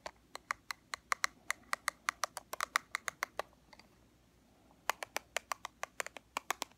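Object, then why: Plastic powder compact. A small, flat, black plastic Fit Me pressed powder compact, closed and held in the hands, is tapped on its lid with long fingernails. About 32 sharp, bright clicks come in quick rhythmic runs, with a pause of over a second midway. Each tap stops almost at once with no ring.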